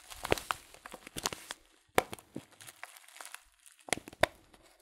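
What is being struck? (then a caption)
Paper tea packet with loose tea. Fingers crinkle a filled Teekanne paper tea packet held upright. Dry, papery crinkles come in irregular bursts, with a few sharper, brighter crackles standing out among softer rustles.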